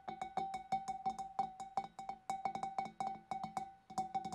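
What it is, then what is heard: Empty glass fish bowl. Long dark nails tap quickly and unevenly on the rim and neck of a large, clear, empty glass fish bowl. Each tap is a short, bright click with a brief ringing tone around 780 Hz that fades within a fraction of a second.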